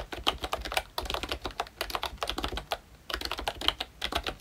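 Fingertips of both hands type continuously on a full-size ROYCHE Disney Mickey Mouse themed retro membrane keyboard with round plastic keycaps. Rapid, soft, bright plastic clicks and taps with very short decay run in a steady stream, broken by a brief pause just before the 3-second mark.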